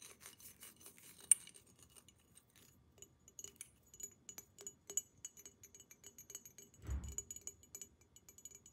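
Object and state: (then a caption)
Glass water pipe, hollow and empty. Long nails tap quickly on a hollow, empty glass water pipe, first along the tube and then on its thick green glass base. The result is a run of soft, bright clicks and clinks with very short ring, one sharper clink near the start and a brief low thud toward the end.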